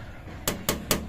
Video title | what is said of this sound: SUZUKI DA64 Automatic MINIVAN Turbo DIY - Oil Leak on K6A engine oil cooler | Iba ang tunog, matigas. Hindi siya rubber talaga. Kasi kung rubber, hindi yan tutunog ng ganon.